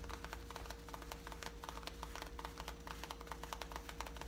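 Long painted nails scratch light-blue, distressed, worn denim jeans along the waistband above the back pocket. A quiet, rapid run of short, dry scratches with a bright edge rides over a steady low hum.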